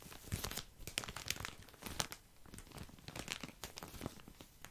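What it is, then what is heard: Plastic bag of cotton pads. Fingers squeeze and scratch a full, soft plastic package of cotton pads held close to the mic. The result is a continuous stream of bright, crisp plastic crinkles and scratchy crackles, with short sharp pops over a soft, muffled low rustle.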